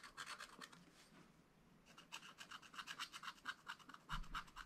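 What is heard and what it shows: A wooden stylus rubs and scratches repeatedly across a black-coated scratch-art page in a spiral-bound book, clearing small areas of the coating. Quick, bright, dry rasping strokes come in bursts, with a brief quieter stretch of soft rubbing before the scratching picks up again.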